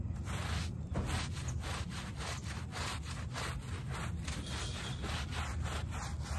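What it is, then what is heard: Shaggy fabric doormat being scrubbed. A small, soaked and foamy shag-pile "HELLO" fabric doormat is scrubbed with a plastic hand brush. Steady, rhythmic back-and-forth rubbing strokes produce a continuous wet, bristly scrubbing sound, heavy in the low end with faint brighter hiss, repeating throughout.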